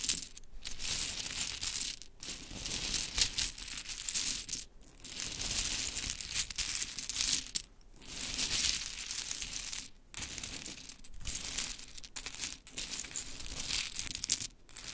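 A pile of pink wooden mini clothespins on glitter fabric is picked up, dropped and scratched through with long chrome nails. The result is a dense, bright clatter and rustle of small clicks, broken by a few short pauses.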